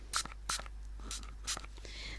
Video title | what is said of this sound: The Auracle Live Stream 22nd Oct 23:30 BST/GMT Late night chill, tingles and live requests! :) | as I'm shaking it, it's kind of frothing up, so the sloshing sound is kind of disappearing